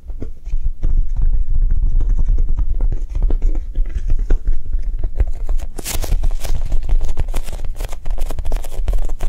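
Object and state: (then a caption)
Soft foam squishy toy. A Japanese cheesecake squishy, a soft foam toy, is tapped quickly and continuously with soft, non-aggressive taps. The sound is a dense, muffled patter of low thuds with short, dull decay, and brighter clicks appear in the second half.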